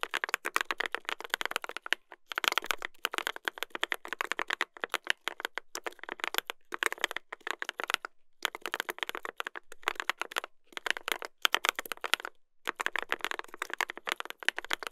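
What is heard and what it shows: Two hands type continuously with their fingertips on a mechanical keyboard with a brass plate and plastic keycaps, seen from above. The result is a rapid, dense stream of crisp, bright clacks with almost no low end, broken by brief pauses near 2, 8 and 12.5 seconds.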